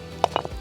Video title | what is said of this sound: Namibia’s Most Remote Valley: Overlanding the Marienfluss | cuando golpeas las dos piezas juntas, puedes escuchar que es bastante densa. Así que es una arenisca muy densa.